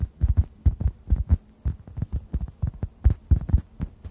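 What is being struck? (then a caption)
Synthetic foam sponge. A hand-sized, solid, yellow-orange synthetic foam sponge is tapped with fingertips just above the microphones. About twenty soft, muffled, deep thumps come in quick clusters with short pauses, dying away instantly and giving a low, throbbing pulse much like a heartbeat.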